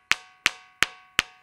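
A ringing dyke rock is struck four times, and each strike gives a bright, metallic, cowbell-like tone centered near 1.8 kHz that rings briefly before fading. It rings because its grains are spaced apart so they can vibrate.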